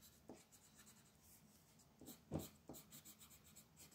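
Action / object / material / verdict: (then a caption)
scrape / colored pencil on a paper sheet / paper / none. A blue wooden colored pencil scratches and rubs across a flat white paper mandala sheet on a table while coloring. Quiet, dry scratching strokes with a bright hiss come in short bursts, and a few firmer strokes near the middle add soft low thumps.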